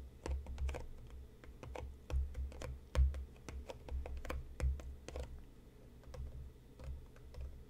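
Fingertips and nails of both hands tap rapidly on the front and sides of a closed, hollow, medium-sized printed cardboard tea box resting on a cutting mat. The taps make quick, light clicks over a dull, low, hollow thump, with a few louder knocks standing out from the steady patter.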